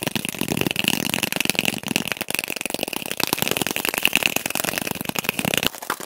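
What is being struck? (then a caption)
Cardboard tube. A cardboard tube is tapped quickly and continuously, heard sped up to double speed. The result is a dense stream of sharp, dry taps with no ring, bright in tone, with a steady high tone near 2.7 kHz, ending abruptly near the end.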